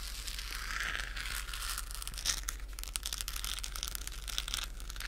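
A hollow, pink-lit, textured plastic galaxy moon globe lamp is held in both hands and scratched with long nails. The result is a steady, dense crackling and scratching, mostly bright hiss with sharp high ticks, over a constant low hum.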